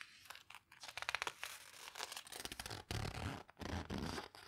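Long-nailed fingers press and rub the paper pages of an open photo book spread with a full-page photo. The result is a quiet, dry crinkling and crunching with soft scratchy rustles. It comes in bursts of rapid, bright little clicks between brief pauses.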